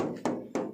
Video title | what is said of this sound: xenia R family tahun 2012 harga 100juta.@SlametbakulmobilSemarang | masih terbuat dari logam padat, bos